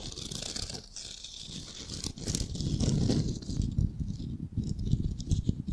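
Fingernails tap and scratch a palm-sized, solid, unfinished ball of raw light wood as it is turned in the hands. The result is a dense, irregular patter of soft, dull low taps mixed with dry scratching, with a bright hiss that is strongest in the first couple of seconds and fades later.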